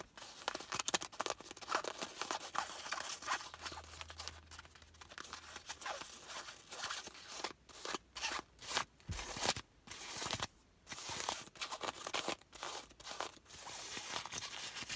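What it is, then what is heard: Folded nylon umbrella. Long nails scratch and rub the patterned purple fabric of a folded compact nylon umbrella lying on a lap. The result is a run of quick, bright, crackly scraping strokes with short pauses between bursts.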